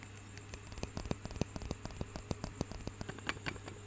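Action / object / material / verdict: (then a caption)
tap / wooden roller massager / wood / none. A small solid wooden roller massager, held in both hands close to the mic, is tapped and scratched with fingernails. The result is a quick, irregular series of short, dry clicks and taps with bright scratchy edges. A steady low hum and faint static run underneath.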